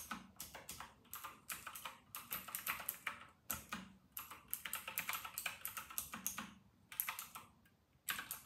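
Both hands type continuously with their fingertips on a full-size white and silver RK960 plastic mechanical keyboard with round typewriter-style plastic keycaps, resting on a white desk. Crisp, bright clacks that die away quickly come in rapid bursts, separated by short pauses.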